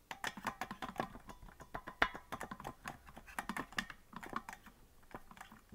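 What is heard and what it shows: Fingertips of both hands tap the plastic keys of a hollow green plastic melodica that is not being blown. The result is a quick, uneven run of about two dozen dry clicks, each dying away almost at once, with a faint tone near 1 kHz in some taps.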